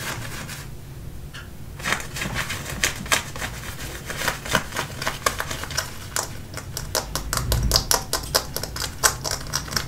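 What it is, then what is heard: Denim jeans scratched and tapped. Fingernails scratch and rub the front of worn dark-wash denim jeans. After a quiet start, a rapid run of sharp, dry, bright scratching strokes follows, each short and clicky like typewriter keys, over a soft low fabric rustle.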